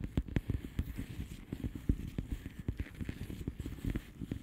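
Long polished nails of both hands tap rapidly on the bubbles of a flat, hollow plastic bubble-wrap mailer lying on a surface. The taps are soft, dull and low, each dying away almost at once, with only a faint bright click on the sharper hits.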